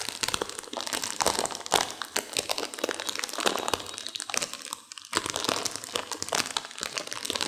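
A sealed plastic instant-noodle packet with dry noodles inside is squeezed and crunched by hands and long nails. It makes a dense, continuous run of bright crinkling and sharp crunching crackles with almost no low end. The sound briefly eases off just before the five-second mark, then picks up again.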